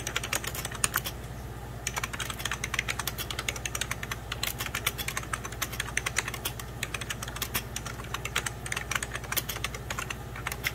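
Fingertips of both hands type steadily on a hollow beige 1990s Packard Bell plastic computer keyboard. The result is a rapid, continuous stream of short, bright, dry key taps with almost no ring. A steady low hum runs underneath the whole time.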